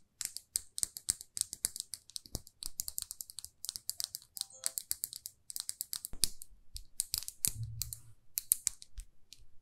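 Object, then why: Small lacquered lipstick tube. Long manicured fingernails tap and scratch all over a small, glossy red lacquered lipstick tube with a silver band, solid and closed. Rapid, crisp, bright clicks come in quick runs, mixed with short scratchy strokes and a few soft low thumps. Each tap dies away almost instantly.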